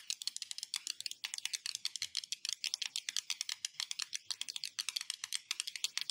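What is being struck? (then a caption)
Glass surface. A glass surface is tapped in a fast, steady stream of short, crisp clicks. The taps are bright and high with almost no low end, and each one stops instantly without ringing.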